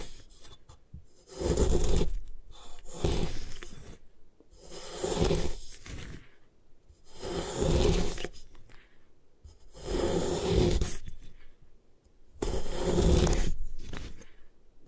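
A metal putty knife scrapes across the surface of a solid white compressed gym chalk block, with a pile of shavings beside it and long nails resting on top. Six long, gritty, rasping strokes sweep across the chalk, each a broad, dry scrape separated by short quiet pauses.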